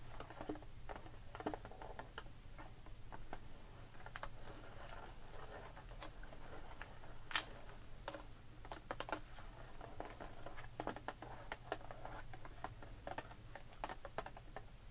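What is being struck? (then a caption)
Clear plastic blister pack holding faux pearl beads on cardboard backing. Long pink nails tap and scratch across the clear plastic bubble of a blister pack filled with faux pearl beads, with a cardboard backing, resting on a wooden table. Many quick, dry clicks and crinkly scratches pop out at irregular intervals, with one sharper, brighter tap near the middle. A steady low hum runs underneath throughout.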